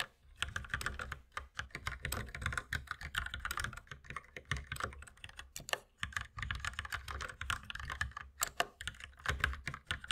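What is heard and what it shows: Continuous two-handed fingertip typing on a compact white mechanical keyboard with plastic keycaps, with the mouse sitting unused. Rapid, uneven bursts of short clacky keystrokes have a low thock and a bright click, each dying away almost instantly. Brief pauses break up the flow.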